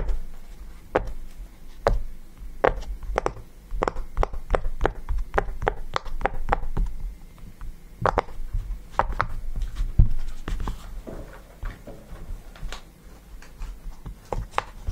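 A yellow round silicone pop-it fidget toy resting on a table has its bubbles pressed and popped by fingertips. Many short, dull pops and taps sound in an irregular series over a low background hum, each one dying away almost instantly.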